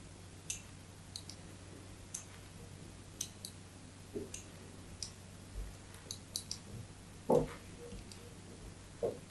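A small metal blade scratches and scores a solid white soap bar held in the hand, making about 14 short, crisp clicks and scrapes at an irregular pace. Each bright tick fades almost at once over a quiet, steady low hum, and one louder, fuller scrape stands out near the end.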